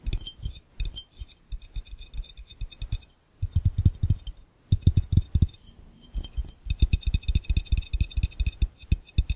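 Fingertips tap quickly on the round glass bottom of an empty, hollow glass fishbowl, with hands pressing and tapping near the lens. Rapid bursts of deep, dull thumps come with faint bright glassy clinks above them. Short pauses break up the bursts.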